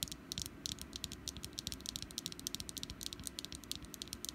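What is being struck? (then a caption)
Small wax pumpkin candle. Long nails tap and scratch the ridged surface of a small solid orange wax pumpkin candle. The result is a rapid, steady run of short, crisp, bright clicks with almost no ring, over a faint low rumble.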